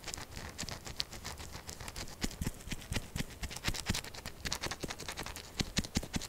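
Long acrylic nails scratch fast and hard at a solid, textured purple bar of soap standing on a table. The result is a rapid stream of dry, crackly scrapes and sharp ticks with a bright, gritty edge and soft low taps underneath. Each sound stops almost instantly, with no ringing.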